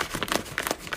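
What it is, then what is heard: Half-sized rice paper that tears crisply (poor quality). A sheet of half-sized xuan rice paper is torn by hand, giving a crisp, brittle crackling with a run of short bright bursts. The crisp tearing marks it as poor-quality paper, since good raw xuan paper tears with soft, cotton-like fibres instead.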